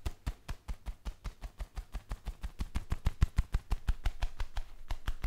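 Black leather gloves worn on both hands have their palms pressed and rubbed together in a quick, steady rhythm of about three strokes per second. About 30 separate squeaky leather creaks and soft thuds are heard, each short with a low body and bright crackle, growing slightly louder toward the end.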